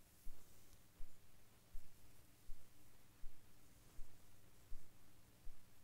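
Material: Nothing is struck.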